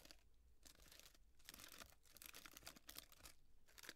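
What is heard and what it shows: A small hollow cardboard and tissue-paper llama piñata is tilted while long nails scratch and rub its paper-fringed legs. The result is a quiet, bright, crinkly rustling with scratchy bursts that come and go over a low background rumble.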